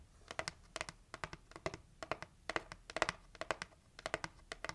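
Long acrylic nails tap rapidly on the lid of a hollow pink printed heart-shaped cardboard gift box. Quick bursts of crisp, clicky taps sound with a hollow papery tone centered around 650 Hz and bright edges. Each tap dies away almost instantly.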